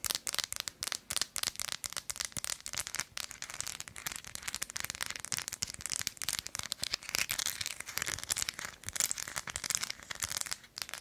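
Long acrylic nails scratch and tap an unwrapped, thin, solid Tony's Chocolonely milk chocolate bar with nuts, held upright in one hand, across its textured, nut-studded back. The result is a dense, continuous stream of crisp, dry, crackling scratches and sharp ticks with almost no low end.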